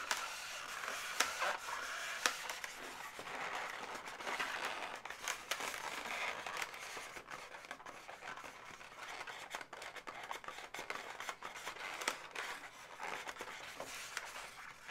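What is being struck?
Inflated latex twisting balloon.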